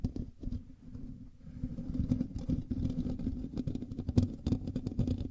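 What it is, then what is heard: Metal mesh microphone grille being scratched. Fingers of both hands scratch and rub the top of a black USB microphone's hollow metal mesh grille. The result is a dense, low, muffled rustling and rumbling close to the mic, with irregular crackly bursts and scrapes that grow busier and louder after the first second.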